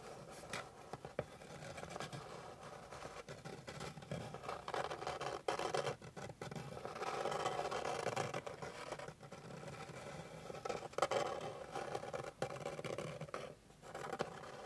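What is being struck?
Flat wooden board.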